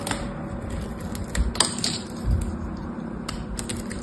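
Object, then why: Solid bar soap scraped with a small metal knife. A small metal knife carves and scrapes a blue solid bar of soap held in the hand, making crisp, bright scraping clicks over a low, steady rumble. Sharper cracks and dull thumps stand out as chunks crack off the bar.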